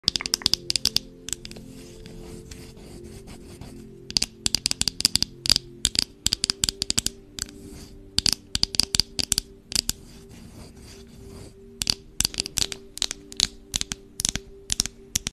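A wooden spoon is tapped in quick bursts of sharp, dry, bright clicks that stop at once, grouped into clusters separated by short pauses. Soft scratching and rubbing sounds fill the gaps, over quiet, steady background music.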